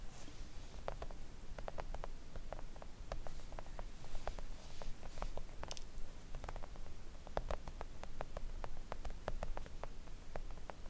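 Long acrylic nails gently tap a flat pink silicone nail art mat lying on a table. It makes a steady, irregular patter of soft, dry clicks with almost no ring, over a low background rumble.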